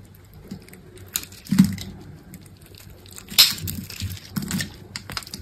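A metal utility knife blade scrapes and cuts grid-scored cubes off a solid green bar of dry soap resting on a table. The result is a series of irregular dry, crumbly scraping and crackling cuts with bright, crisp edges, a low thud beneath some strokes, and short, dead-sounding decays.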